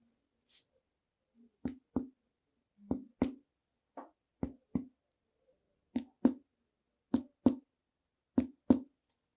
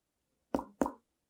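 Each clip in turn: First: tympanic percussion note over an air-filled space. Second: dull chest percussion note (fluid or solid beneath).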